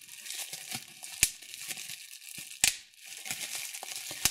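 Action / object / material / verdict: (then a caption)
scrape / plastic bubble wrap / plastic / none. A large sheet of clear plastic bubble wrap with small air-filled bubbles is held in both hands while fingertips and thumbnails pinch and pop individual bubbles. Steady, bright crinkling and rustling of the plastic runs throughout, broken by three sharp, very short pops.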